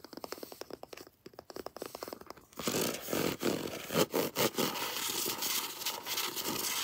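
Long nails scratch the spine of a paperback novel in a quick run of soft, ticking scrapes, then tap and scratch its glossy front cover. The cover scratching is louder, denser and brighter, a steady rasp broken by a few sharper taps.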